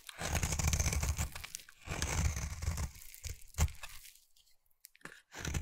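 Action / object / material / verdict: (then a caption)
scrape / solid bar of soap cut with a blade / soap / none. A utility knife blade carves a solid round peach bar soap into thin shavings. Dense, crunchy tearing and scraping strokes come in bursts with a heavy low rumble and a bright hiss, including one sharp crunch, separated by short quiet pauses before the cutting resumes.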